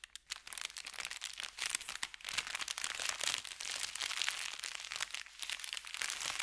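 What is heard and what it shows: Fingertips scratch and rub an empty brown kraft paper bakery bag with red lettering, lying flat on felt. The result is a dense, continuous stream of bright, crisp crinkling and scratching with many quick crackles and almost no low end.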